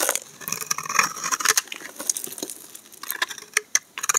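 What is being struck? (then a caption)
Soap bar cut with a utility blade. A solid striped pink and white bar of laundry soap, held in the hand, is shaved with a utility knife blade, giving a dry, crisp scraping and crackling that is bright with almost no low end. Short sharp ticks and snaps pepper the cutting, growing louder and more distinct toward the end as chunks break off the bar.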